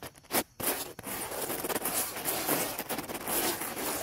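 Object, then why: Dry wooden log scrubbed with bristle brushes. Two round black-bristled brushes, held by their handles, are scrubbed quickly across the top of a large, dry, weathered fallen wooden log lying solid on grass. After a brief pause near the start, the brushes make a continuous, bright, rasping scratch-and-scrub with rapid uneven strokes and very little low end.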